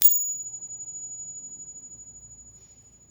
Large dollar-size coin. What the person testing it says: so it's got a pretty high pitch it's got a good duration to it now it certainly doesn't sound like a 90 coin metal